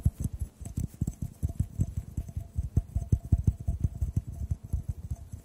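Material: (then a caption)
Glass. A clear, hollow, empty glass tube is tapped with the fingertips while held over the microphones. About 26 soft, deep, dull thuds come in a quick, uneven rhythm, each dying away almost at once. A faint high hiss lies underneath.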